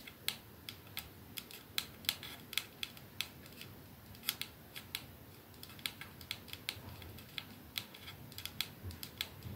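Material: Glass.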